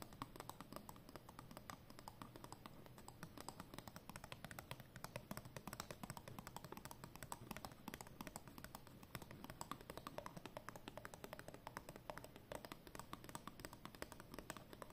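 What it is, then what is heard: Paper banknote. Long nails tap quickly on a thin, flat, folded 20 euro banknote of cotton paper held between the hands. The result is a steady, quiet stream of rapid, dry, crisp taps with almost no ring, continuing for the full fifteen seconds.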